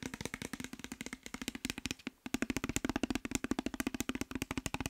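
Fingernails and fingertips tap rapidly on a clear glass bottle with a white cap, partly filled with orange liquid, making about 41 short, dry clicks with a faint glassy ring near 266 Hz. The tapping runs nearly continuously, pausing briefly just after the two-second mark before resuming.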